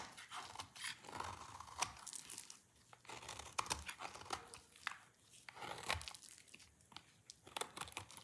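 A rectangular solid bar of dry red soap is shaved repeatedly with a utility knife blade in scraping strokes, and the shavings fall onto a pile. Each stroke gives a bright, dry crunching scrape with short, sharp clicks, and quiet gaps fall between the passes.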